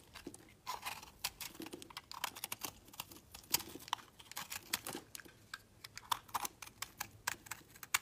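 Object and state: Soap bar carved with a knife.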